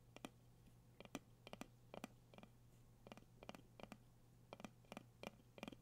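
Fingertips and nails tap the gold metal lid and sides of a medium dark candle jar held in the hands. The taps are quick, crisp clicks, often in close pairs, with bright metallic tips that die away almost at once. A faint steady low hum sits underneath.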